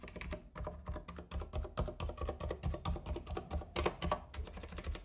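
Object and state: Plastic mechanical keyboard.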